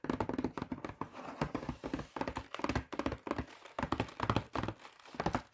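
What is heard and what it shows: Fingertips and nails tap and scratch the flat surface of a full Sainsbury's cheese and garlic pizza bread box made of thin printed cardboard. The result is a rapid, uneven run of soft, dull thunks and taps with scratchy rustling in between, each tap dying away almost at once.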